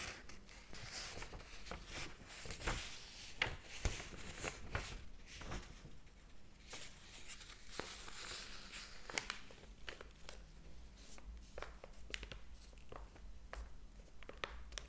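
Fingers flip and curl the paper pages of a large, thick hardcover book lying open on a table. The result is a steady run of soft, bright rustles and crisp page snaps over a faint low hum, with no talking.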